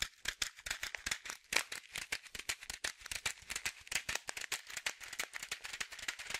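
A small blue and white printed plastic pouch of Aquarian fish food, about 15 cm and partly filled with dry pellets, is held in both hands and shaken so the pellets rattle. About 39 quick, dry rattling bursts follow one another over six and a half seconds. The sound is bright and hissy, centred around 2.3 kHz, with almost no low end and no ring after each shake.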